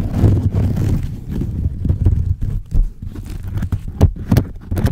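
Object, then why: Woven wicker basket. Fingernails scratch the top of a rectangular orange-brown woven wicker basket, and then the basket is tilted up. Dense, low, rustling scratches and creaks fill the clip, broken by a few sharp, bright crackles toward the end.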